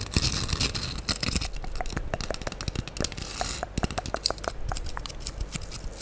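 Long acrylic nails scratch across the rough surface of a light-blue porous foam sponge block held over the microphone. A dense, crackling scrape plays with rapid short clicks and bright hiss over a soft low rumble, steady throughout.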